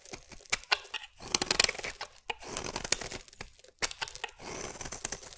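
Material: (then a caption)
Soap. A metal utility blade scrapes a solid green bar of soap into shavings. It makes crisp, bright scraping and tearing sounds in short bursts, with sharp clicks of the blade between strokes and a few brief pauses.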